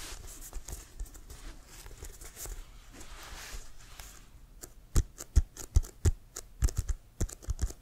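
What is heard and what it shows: Fingernails tap on an inflated, hollow leather American football, first while the ball is held upright and then horizontally. Soft, rapid, scratchy tapping over the first half gives way to louder, separated hollow knocks with a low thump and a bright click, each dying away almost at once.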